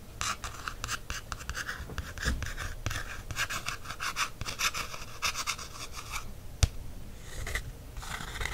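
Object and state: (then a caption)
Paperback book cover traced and tapped. A fingertip traces and taps the printed matte cover of a small black paperback book held in the hand, a solid block of paper. Dry, scratchy rubbing strokes mix with soft, dull taps, and one sharper tap stands out near the end.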